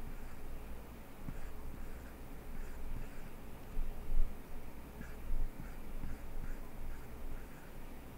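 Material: Nothing is struck.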